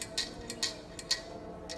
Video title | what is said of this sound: Solusi Mencegah Regulator Gas Elpiji Bocor dan Mampet | bola-bola besi di dalam itu dia tergoyang goyang sehingga berbunyi